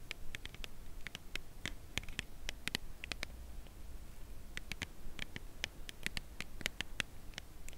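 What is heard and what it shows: A white Lindt Creation Crème Brûlée cardboard box holding a chocolate bar is held horizontally and tapped and scratched on its side with long acrylic nails. Quick, dry clicks with a bright edge near 2.7 kHz come in uneven bursts, each dying away almost instantly. A steady low rumble sits underneath throughout.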